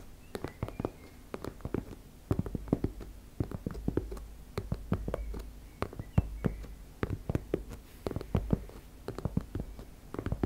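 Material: Fabric.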